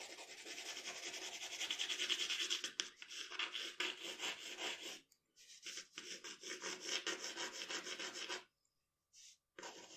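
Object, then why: Paper drawing sheet under a graphite pencil. The graphite tip of a wooden pencil scratches across a flat sheet of drawing paper lying on a dark table while shading the neck area of a portrait. Dense, bright, rapid scratching strokes run almost continuously, with a brief pause near the middle and a longer near-silent gap toward the end before the shading resumes.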